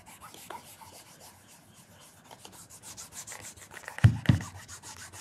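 A black leather loafer fitted with a wooden shoe tree is held in one hand while a cloth wrapped around the fingers of the other hand rubs and polishes the leather toe and vamp. Quick, soft, steady brushing strokes repeat about four times a second, with a bright, airy swish. Two louder, deeper bumps stand out near the end.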